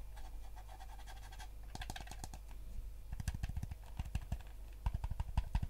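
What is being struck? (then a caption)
Plastic game controller shell. Fingertips and nails tap and scratch the shell of a yellow hollow plastic game controller held close, and press its buttons. Soft scratching over a steady low hum gives way to quick bursts of dry, sharp plastic clicks and taps that stop instantly with no ring.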